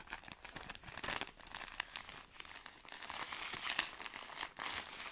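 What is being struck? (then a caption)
Soft pack wrapped in thin plastic film. Long nails scratch and squeeze a long, soft product pack wrapped in thin plastic film, producing a steady run of bright, crisp crinkling with a few sharper crackles. The sound sits mostly in the high range, with almost no low end and very little ring after each crackle.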